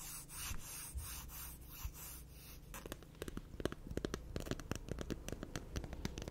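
Long nails rub and file quickly across the gritty surface of a black emery board nail file. First come steady, rhythmic rasping strokes with a bright, hissy edge. These give way to a fast run of sharp, dry scratches and ticks over a low background rumble.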